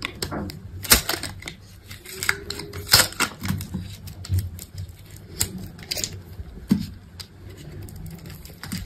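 A metal utility knife blade scrapes and cuts cubes and curls from a solid, grid-scored green bar of dry soap with a yellow coating, resting on a table. The result is a series of crisp, bright crackling snaps and dry scraping strokes, each dying away almost at once, with a few sharper cuts standing out.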